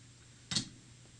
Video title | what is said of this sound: Trip To Old Military Base & Dump For Salvaging Parts | if you shake it you can hear a little bit of mercury in it